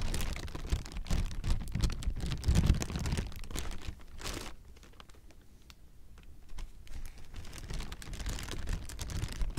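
A clear, hollow, air-filled plastic air-pillow packing strip is squeezed and crinkled with fingers and a palm, giving dense crackling and crinkling with deep muffled thumps. The crinkling eases into a quieter, sparser stretch midway, then builds back up toward the end.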